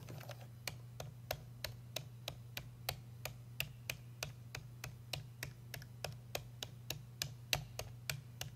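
Fingertips trace and tap around the holes of the perforated earpiece cap on a hollow black hard-plastic payphone handset held in the hand. About 28 short, crisp, bright clicks come at a steady but uneven pace over a constant low hum.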